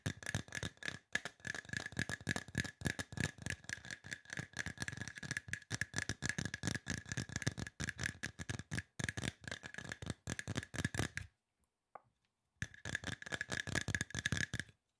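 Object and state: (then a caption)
Aluminum spray bottle, hollow. A hollow, silver aluminum spray bottle is tapped rapidly with fingernails and fingertips, producing dense, dry clicks with a faint metallic ring. The tapping runs almost continuously, stops briefly near the end except for one soft tap, then resumes for a final burst.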